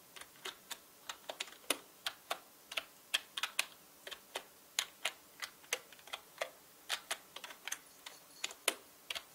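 Fingertips type on a full-size black mechanical keyboard with plastic keycaps, producing about thirty separate, bright, clicky taps at an uneven pace. Each keystroke is short and dry, with almost no low end and very little ring after each tap.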